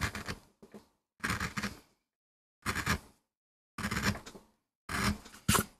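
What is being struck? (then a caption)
MDF carving block and metal gouge. A metal gouge carves and scrapes the surface of a small, flat, solid MDF carving block in short strokes. Seven separate bursts of dry, scratchy, broadband scraping are heard, each with a low body near 200 Hz and bright, gritty high end, and they stop quickly with brief silences between.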